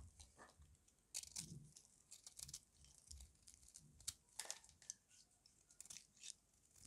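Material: Soap.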